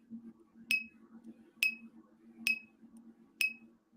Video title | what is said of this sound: PLA isn't for Drones - FPV YOUR WORLD TUESDAYS - how to successfully 3d print for RC and Drones. | Sounds like metal. You ain't doing that to any other 3D printer.